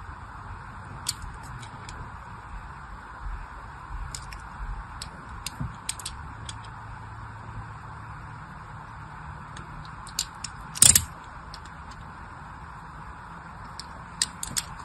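A small blade scratches parallel grooves into the surface of a solid, unwrapped, hand-sized pink soap bar held in the hand. Sparse, crisp, bright scratching ticks sound over a steady low hiss and hum. One louder, rough scrape bursts out near the end.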